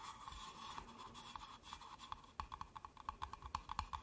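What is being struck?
Stacked paper cups.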